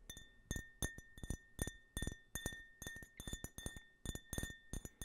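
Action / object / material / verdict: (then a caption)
tap / small printed glass tumbler / glass / none. An empty, small hollow glass tumbler printed with an American flag design is held sideways and tapped with fingernails. It gives a quick, uneven series of short, bright clinks with dull low thumps, and a faint steady tone runs underneath.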